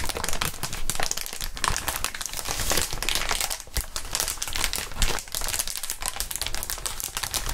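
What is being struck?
Inflated plastic air-column cushion wrap.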